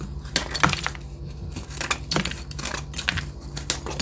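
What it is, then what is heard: Gym chalk block. A hand-sized solid white block of reformed gym chalk (magnesium carbonate), held in one hand, is scraped and cut by metal scissor blades, crumbling chunks off onto a yellow surface. Repeated short, dry crunching scrapes and sharp crackles are heard over a steady low hum, with bright, gritty crumbling between the louder cuts.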